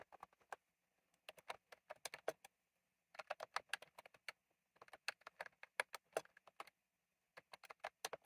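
Fingertips type quickly on a retro plastic mechanical keyboard with round plastic keycaps. Crisp, short clicks come in five bursts of rapid keystrokes separated by brief pauses, each click bright and snappy with almost no ring and no low rumble.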